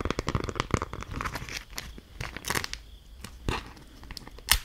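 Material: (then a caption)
Waxed cloth. A thin, stiff, patterned beeswax-coated cloth food wrap, held in both hands, is crinkled and scrunched with fingers and long nails. The result is a dense run of crisp crackles and tearing-like crinkles with bright high-end bursts. The texture thins in the middle, and the clip ends with a sharper crunch.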